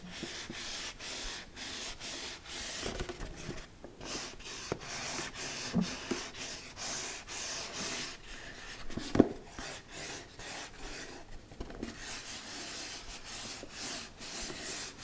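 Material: Cardboard.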